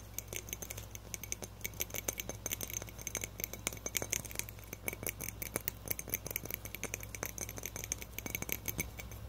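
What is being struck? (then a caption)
Thin glass light bulb with metal screw base. A small hollow frosted glass light bulb with a metal screw base is held in both hands and tapped fast with fingertips and nails on the glass. The result is a dense, continuous stream of quick, bright, clicky taps with a thin high glassy ping that dies away almost instantly, over a steady low hum.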